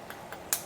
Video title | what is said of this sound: One of my favorite - Taiwanese Braised Pork Over Rice (Lu Rou Fan) | lightly tap it until you hear that cracking sound